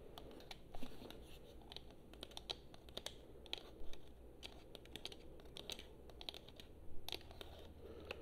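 Long nails tap the touchpad and buttons of a hollow blue plastic PS4 controller held in both hands. Quick, light, clicky taps come in an irregular, uneven rhythm, each short and bright with almost no ring. A steady low hum sits underneath.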